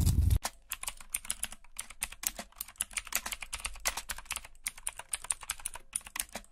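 Fingertips with short nails type and tap on the hollow keys of a backlit black plastic mechanical computer keyboard. A brief low, loud thump at the start gives way to a rapid, uneven stream of sharp, bright plastic clicks and clacks that stop short with no ring.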